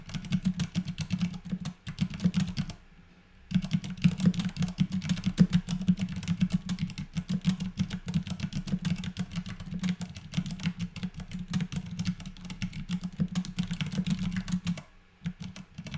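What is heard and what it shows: A compact white mechanical keyboard with plastic keycaps and Cherry MX Clear switches is typed on continuously with the fingertips of both hands. The result is a rapid stream of short, dull clacks with a low, thumpy body and a faint bright tick on each stroke. The typing pauses briefly twice, near 3 seconds and again near 15 seconds.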